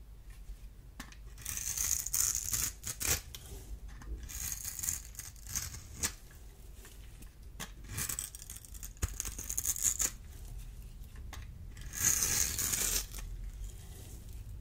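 A solid, dry, oval black bar of soap is held in the hand and scraped and cut into cubes with a small metal blade. Bursts of bright, crisp scraping and crunching come in uneven bursts, with sharp clicks and slices between them.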